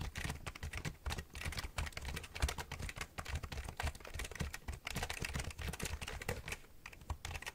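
Fingertips and nails tap and press the keys of a black plastic computer keyboard with a hollow body, held at an angle near the microphone. A rapid, continuous stream of short, dry clicks layers a bright clatter over a deep, hollow thump beneath each press, with no ringing between strokes.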